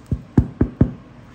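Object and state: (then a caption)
Hollow-sounding baked sourdough loaf. Four quick taps on the bottom of a freshly baked sourdough loaf make short, dull, low knocks that die away almost at once. The loaf sounds hollow, meaning it is baked through, as confirmed by a thermometer reading over 200 degrees.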